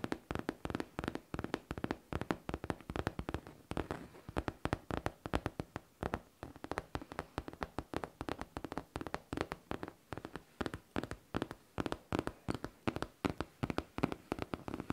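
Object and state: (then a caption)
Faux leather backpack, hollow. Long teal nails tap and scratch a hollow pink faux leather backpack in a quick, steady stream of short, dull taps. The taps are soft and low-toned, stop almost instantly, and sit over faint scratching between them.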